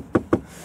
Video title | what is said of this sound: Kia Niro PHEV - Real life car review | when I tap this I hope you can hear this it's a plastic panel